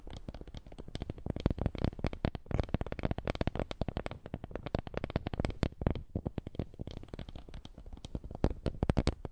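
A small, flat, woven wooden lattice coaster is held in both hands and rubbed and scratched with fingertips. The result is a quiet, dense stream of rapid, dry scratching clicks that are mostly low and muffled, with only faint brightness and no ringing after each tick.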